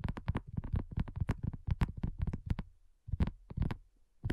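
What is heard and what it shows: Long nails tap rapidly on a flat, round, pink dotted silicone coaster that is thin and solid. The taps come in quick, dense bursts with short pauses. Each lands as a soft, dull, low thud that dies away almost at once.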